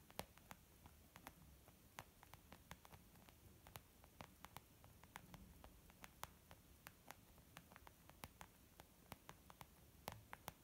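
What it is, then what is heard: Leather makeup bag. Fingertips and nails tap quickly on a white textured leather zip pouch makeup bag. The result is a rapid, irregular stream of short, dry clicks that reach up into bright highs, set over a quiet, steady low hiss.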